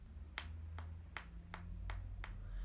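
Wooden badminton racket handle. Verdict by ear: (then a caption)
Fake. The wooden handle of a counterfeit Yonex badminton racket is tapped six times, giving short, sharp clicks over a low steady hum. The taps sound slightly duller than a genuine racket's because the fake's wood is softer and less dense.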